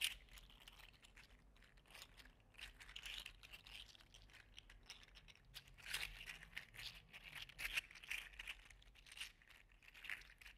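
A gold and green segmented 3D printed PLA articulated slug toy is curled and squeezed in one hand, rattling its segments. Quiet, bright, dry crinkly clicking and rustling runs throughout, swelling into louder bursts every couple of seconds with no ring after each click.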